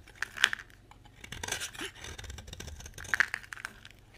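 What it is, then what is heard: Dry bar soap. A utility knife scrapes and carves crumbly shavings from a solid oval orange bar of dry soap held in the hand. The result is a run of dry, crunchy scraping and crackling, with sharp bright ticks and short tearing strokes.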